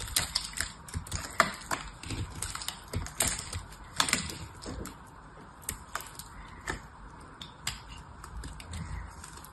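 A small knife repeatedly cuts thin, crumbly slices from the edge of a solid, hand-held, blue-painted oval soap bar. Each cut gives a short, dry, bright scraping crunch. The cuts come at an irregular pace with quieter crumbling in between.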